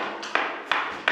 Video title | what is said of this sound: Nouvelle acquisition ! Inspection, financement, travaux, fiscalité, rendement ! | on se rend compte qu'au bruit ça sonne pas creux c'est plein